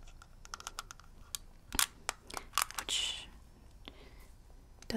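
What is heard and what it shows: A small shield-shaped metal mint tin with a Hylian shield design from The Legend of Zelda is held in the hand and tapped with long red-painted fingernails. The result is a quick, uneven series of sharp, bright clicks with almost no ring. A few louder, harsher taps land near the middle, one trailing a short bright rasp, over a quiet background.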